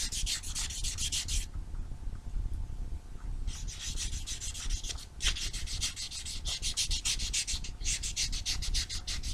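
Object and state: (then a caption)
Foam nail buffer block. A small, solid foam nail buffer block with blue and white abrasive sides is rubbed quickly back and forth across black fingernails. It makes bursts of rapid, rhythmic, bright scratchy strokes, with a pause of about two seconds early on, over a low, steady rumble.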